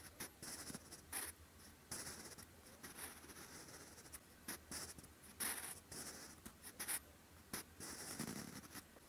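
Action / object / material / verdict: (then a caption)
scrape / graphite pencil on a paper notebook page / paper / none. A sharpened wooden pencil writes in handwriting strokes on a lined grey-beige paper notebook page. Its graphite tip makes soft, dry scratching bursts with bright, high hiss. Short strokes alternate with brief pauses.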